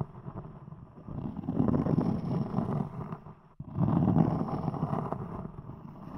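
Long acrylic nails scratch and tap the textured top of a thick, round, palm-sized solid cork disc set on a microphone. The result is a dense, muffled, low-pitched rustling and tapping that swells in two bursts, separated by a brief near-silent break around the middle.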